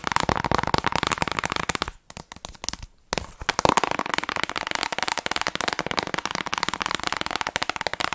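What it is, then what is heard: Plastic game case. Long acrylic nails tap and scratch the front and back of a small hollow plastic Nintendo Switch game case with a Zelda cover, apparently still shrink-wrapped, held close to the mic. A dense stream of quick, dry clicks and crinkly scratches fills the clip, dropping to a few sparse taps for about a second before resuming just as busily.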